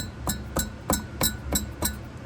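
The steel driveshaft of a Mercedes W140 S500 with the M119 engine is shaken and spun by hand while it spins freely, touching nothing. Six distinct metallic tings ring out from something loose rattling inside the shaft. The rattle is abnormal and matches a coat-hanger-like dragging noise heard when pulling up to or away from a stop.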